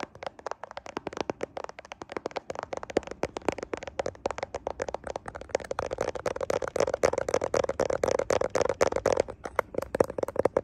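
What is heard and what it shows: Fingertips tap and scratch the camera lenses of a handheld smartphone with a glass back and metal frame, held in both hands in front of a mirror. Dense, irregular, dry clicks and scratchy ticks come in quick succession, with a faint steady tone near 500 Hz that grows stronger in the second half.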